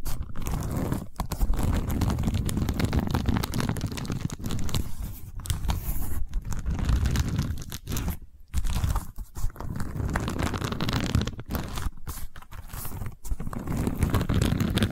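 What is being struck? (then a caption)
Woven seagrass tube. Long nails and fingertips scratch along a long cylindrical tube covered in woven seagrass/straw weave, held horizontally. The result is a dense, continuous crunchy rasping that is heavy in the low end, broken by a few brief near-silent pauses.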